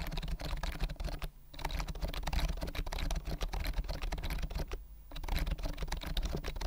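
Fingertips tap and type on the round mint keys of a white plastic compact keyboard with a hollow body, held upright close to the mic. A rapid stream of short, sharp clicks with a deep hollow thump is heard, briefly pausing twice before the typing resumes.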